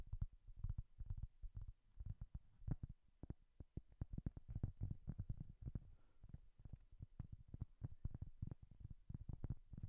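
A round, flat, solid cork coaster held close to the microphone is tapped and scratched with long nails. The result is a quick, uneven run of dull, low thuds that stop short, with faint scratching between them.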